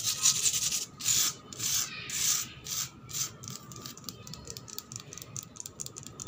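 Long black pointed nails scratch and rub fast across a flat, solid concrete floor with worn paint that is wet and gritty. Several long, bright, rasping strokes open the clip, then give way to quicker, shorter scratches with a dry, gritty texture and almost no low end.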